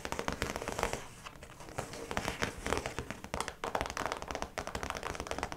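Long pointed nails tap and scratch across the clear plastic face of a round zip pouch with yellow trim, lying flat. Dense, quick, crisp clicks and crinkly scratching sound close and dry, with short bursts fading between quieter stretches.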